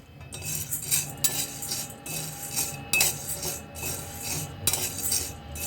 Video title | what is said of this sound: नवरात्रि# के #थोड़े-बहुत #तैयारी पहले ही कर ली । | इनके आवाज से पता चल ही जाएगा कि यह भून चुके हैं अब